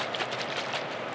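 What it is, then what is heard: Spray bottle of thin, watery liquid. A plastic chemical spray bottle filled with a homemade penetrating oil of equal parts acetone and ATF is shaken to mix it. A steady, broadband sloshing runs through the whole clip, and it shows the mixture is thin and watery, just like water.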